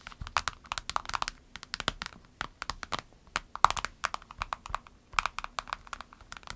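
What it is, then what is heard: Vinyl pencil case. Long nails tap and scratch on a small, clear orange vinyl pencil case with a snap flap and pens inside, then the case is lifted. The taps come as rapid bursts of short, dry, bright clicks with crinkly plastic scratching between them and almost no ring.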